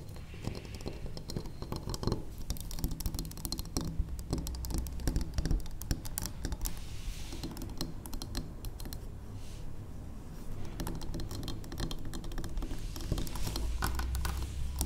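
Long acrylic nails tap rapidly on the sides of a large, square, cream-colored solid wax pillar candle resting on a wooden table. The result is a steady, dense patter of short, dry clicks with almost no ring, over a low, steady rumble, easing slightly around the middle before picking back up.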